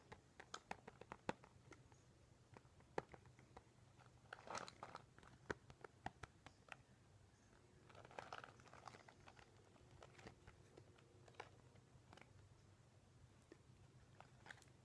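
Long painted nails and fingertips tap and scratch the crinkly surface of a small to medium, flat pink floral cosmetic pouch covered in clear PVC plastic with a zip top, held in both hands. Quiet, sharp clicking taps scatter throughout over a faint low hum, with denser bursts of crinkling and scratching around the 4.5 and 8 second marks.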